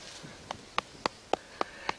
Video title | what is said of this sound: Catching bardie grubs with Lyall Todd | We'll just tap it and see what it sounds like. Hear that? That's a good hole.